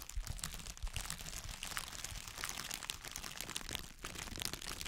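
A long folded strip of light, air-filled clear plastic bubble wrap is held in both hands in front of the microphone and crinkled and squeezed with the fingertips. It makes a steady, dense crinkling and crackling with bright, high rustle on top and soft low thumps from handling underneath. The crackles are short and dry, with no ring after them.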